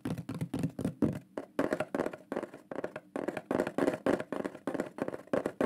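Fingers tap quickly along the lower edge and face of a shield-shaped solid wooden pyrography plaque with a burned lion drawing, held upright. The taps come in a rapid, uneven run of short, dry knocks with a warm low-mid body and almost no ring after each one.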